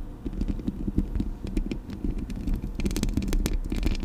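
Long acrylic nails scratch and tap across the metal mesh grille of a Blue Yeti microphone, producing a dense, low, rumbling scrape with quick ticking taps. Bright clicks flicker above it, growing busier toward the end.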